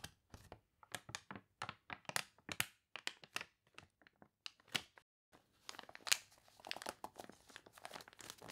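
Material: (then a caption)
Paper. Long nails scratch while fingertips rub and press the wavy, water-wrinkled pages of an open glossy paper catalog lying on a table. The result is a quick series of bright, crisp crinkles and crunches, separate at first, then blurring into denser rustling near the end.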